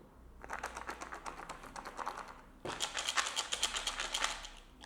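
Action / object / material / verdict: shake / plastic box of boilie hookbaits / boilie bait / dry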